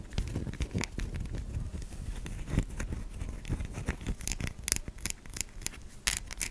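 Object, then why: Solid soap bar. Long nails scratch across the face and stamped logo of a white solid bar of soap, making a dense, dry scraping texture with a strong low rumble. Sharper, brighter scratches and clicks stand out toward the end.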